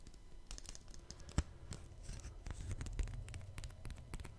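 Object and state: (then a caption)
Paper ticket handled close to the mic. A small, thin, flat printed paper concert ticket is held up close to a microphone in both hands, then handled, tapped and scratched with the fingertips and flexed near the mic grille. The result is quiet, rapid crinkly scratches and light ticking taps over a low, muffled rumble, with one sharper tap standing out early on.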